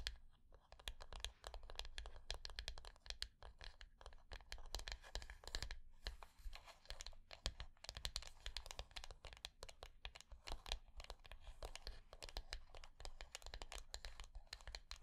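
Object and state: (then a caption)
Hollow wooden box. Long nails scratch and tap along the layered edges of a small, hollow, dark rectangular wooden box resting on a table. The result is a fast, continuous stream of dry, crackly scratches and sharp clicks that die away almost instantly, over a steady low hum.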